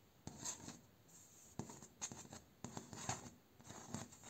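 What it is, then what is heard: Bamboo slat door. A single fingernail and fingertip scratch and rasp along the vertical bamboo slats of a door, near the nodes. The result is a series of quiet, dry, raspy strokes with bright upper edges and very little ring, separated by short pauses.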